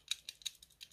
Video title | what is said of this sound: ХОТВИЛС: РАСПАКОВКА И ОБЗОР САМЫХ НОВЫХ МОДЕЛЕЙ HOT WHEELS 2020! | трясу porsche у нее там вот слышите звук какой-то расхлябанность